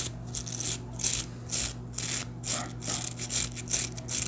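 Fingertips rub and flick along the dense dark bristles of a handheld hairbrush with a light wooden handle, held close. The result is bright, ratchet-like scratching in quick, uneven bursts over a faint steady low hum.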